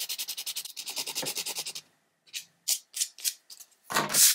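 A small rectangular purple-and-black foam nail buffer block, held in one hand, is rubbed back and forth across the fingernails of the other hand over a white paper-covered table. Quick, bright, hissing scrubbing strokes run rhythmically for almost two seconds. After a pause, slower, separated swipes follow and end in a louder, fuller rub.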